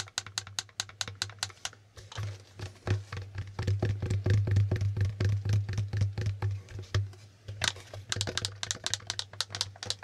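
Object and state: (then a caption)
Plastic board game tiles. Fingertips click and flip the red and blue letter tiles on a plastic Hangman board game while the board is moved in both hands. Quick, dry, bright plastic clicks and taps come in uneven bursts over a steady low hum, which swells louder through the middle of the clip before easing off.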